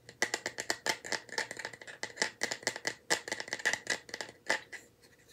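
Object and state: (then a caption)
Small bamboo box. A small, light bamboo wooden box held in both hands is tapped with nails and fingertips and rattled. The result is a rapid, irregular run of sharp, dry clicks and taps with a bright hollow tone near 2 kHz. Each tap dies away almost instantly.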